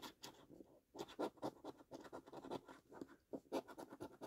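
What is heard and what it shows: A coin held in the fingers scrapes the latex panels of a thin, solid, flat cardboard £2 National Lottery "5x £100 Multiplier" scratch card in repeated strokes. The clip is a quiet series of short, dry, gritty scraping bursts in an uneven rhythm, centered in the mid-range with a faint bright hiss and almost no low end.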